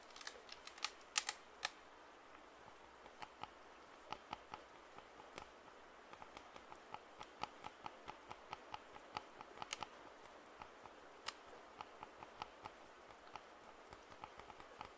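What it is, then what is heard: Plastic over-ear headphones. Fingertips tap and scratch the black earcups of white and black plastic over-ear headphones held up close. About 30 quiet, sharp, bright clicks come in irregular clusters, each dying away almost instantly. A faint hiss and scratchy rustle sit underneath, with almost no low end.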